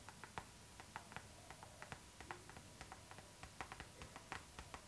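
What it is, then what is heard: Plastic zipper pouch tapped with nails. A hollow, transparent pink PVC zipper pouch, tilted toward the camera, is tapped and scratched with long acrylic nails. The result is a quiet, irregular series of short, crisp plastic clicks and light scratches, each dying away almost instantly, over a faint steady tone near 900 Hz.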